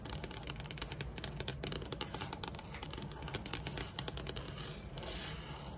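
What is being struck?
Wood tabletop.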